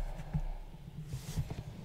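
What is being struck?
Nothing is struck.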